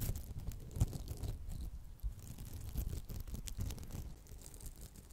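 Long acrylic nails scratch the textured surface of a round, palm-sized red polymer foam smiley sponge held in both hands. The result is a quiet, muffled stream of soft scraping and crackling rubs, mostly low and dull with brief brighter flicks of texture.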